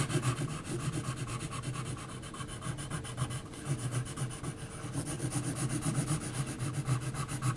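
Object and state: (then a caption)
Pencil hatching on textured paper. An HB graphite pencil is scratched across a large flat sheet of heavy textured mixed-media paper in short hatching strokes near a face outline. The result is a fast, steady run of dry scratching strokes, roughly four per second, with a soft low rubbing body and a bright, gritty edge.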